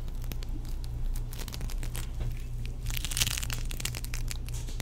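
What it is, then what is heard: Foam-bead play foam. Fingertips squeeze, knead and pull apart a small, solid lump of soft, sticky green play foam made of tiny foam beads, held in the hands. This makes a continuous crinkly, crackling squish with bright, sharp pops. A steady low hum sits underneath, and a denser burst of crackling comes just past the midpoint.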